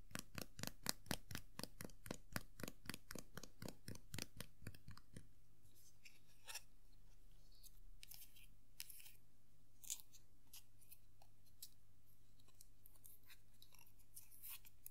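A small hollow vinyl Tuxedo Mask Funko Pop figure is held in hand while long nails tap and scratch its top hat and head. For the first five seconds there is a fast, steady run of sharp, bright clicks. After that come quieter scratching and scattered light ticks over a low, constant hum.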